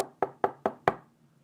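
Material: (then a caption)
Wood. Four sharp, evenly spaced knocks on a wooden surface, made for luck. Each is a short, dry, hollow tap centered in the mid-range around 700 Hz, dying away almost at once. The knocks sit over quiet room tone.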